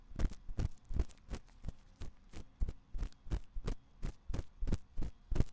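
A thin metal ear pick scratches inside the ear canal of a white silicone ear on a 3Dio binaural microphone. The result is a series of rapid, uneven scratching strokes, each a short broadband rasp with a heavy low thump and almost no ring, over a faint low hum.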